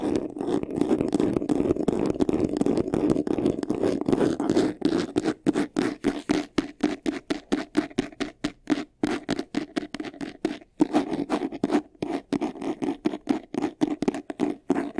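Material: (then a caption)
Faux leather. Fingernails scratch quickly across the textured front of a medium white faux-leather vanity case, a hollow box, and then along its sides. A dense, continuous rasping with a hollow, low-mid body gives way after about five seconds to a fast train of separate short scratching strokes, each with almost no ring-out.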